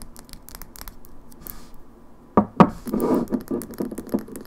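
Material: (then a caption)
Glass. Long fingernails tap and scratch a small glass cosmetic foundation bottle with a plastic pump cap, partly full of liquid, held over and then set on a wooden table. Soft, bright clicks and light scratches come first, then two sharper knocks. A busy run of quick, mid-toned taps with short, dry ring follows.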